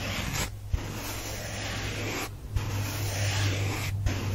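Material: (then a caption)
Foam. A heart-shaped, soft and solid pink porous foam sponge held in one hand is scratched and traced with fingernails, producing a continuous, bright, airy scratching rustle. The scratching pauses briefly a few times, each followed by a soft tap, over a steady low hum.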